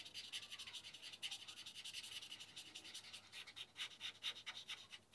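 A felt-tip marker held in the fingers rubs and scratches back and forth across flat white drawing paper lying on a wooden board, shading in black areas. The strokes come as a quick, uneven run of soft, dry, bright scratches with almost no low end, each dying away at once.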